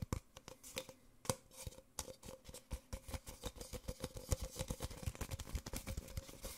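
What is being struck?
Paper coffee cup.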